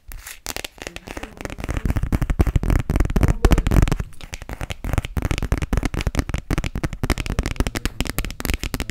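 Long nails rapidly tap and rub an empty, clear plastic glitter phone case held horizontally. The result is a dense stream of short, dry, irregular clicks with a low-heavy body. The tapping swells louder in the middle, then settles into lighter, quicker taps.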